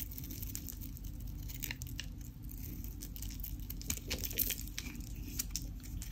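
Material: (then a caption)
Soap. A craft knife blade cuts, scrapes and crumbles a solid, dry white Dalan soap bar with a pink painted edge, and crunchy pieces break off in the hand. Dense, crackly crunching and scraping fill the clip over a steady low rumble, with bright snaps flaring up as pieces give way.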